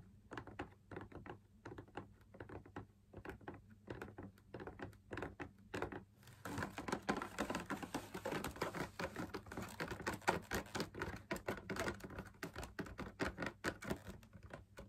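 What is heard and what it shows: Fingertips and nails tap the rim and wall of a hollow, perforated, fabric-laminated drum lamp shade, producing light, dry, papery ticks with almost no ring. The taps are spaced out for about six seconds, then turn into a fast, dense, brighter patter that continues to the end over a steady low hum.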